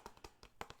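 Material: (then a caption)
Plastic. Six quick, quiet taps on the outer edge of a cheap plastic picture frame that looks and sounds like wood but is plastic. Each tap is a short, dry knock with a mid-pitched tone and almost no ring.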